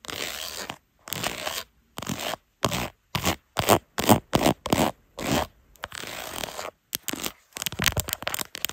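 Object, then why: Ribbed plastic phone case. Long acrylic nails, using both hands, scratch and tap the ridged back of a black carbon-fiber textured plastic case on a smartphone mounted on a tripod. The result is fast, irregular bursts of dry, raspy scratching and clicky tapping, separated by short silences.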